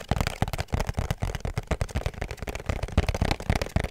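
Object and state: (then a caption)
Cardboard perfume box tapped. A small, hollow pink cardboard perfume box with a black ribbon is held close and tapped rapidly with fingertips and nails. The taps make a quick, irregular stream of soft, deep, hollow thumps with little high-end brightness, each dying away almost at once.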